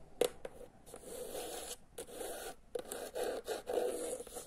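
Fingernails scratch along the spine of a teal hardcover book, then tap and scratch its cover. The result is dry, rasping scrapes centered in the midrange with faint high hiss, broken by a few short, sharp taps.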